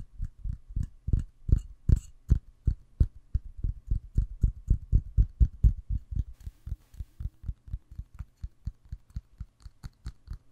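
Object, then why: Wax-filled glass candle jar. A red glass candle jar filled with cream-colored wax is tapped with fingernails on the wax surface and the glass side. About 40 quick, dull taps come at roughly four per second, mostly low thuds with only faint bright clicks on top. Each tap dies away almost instantly.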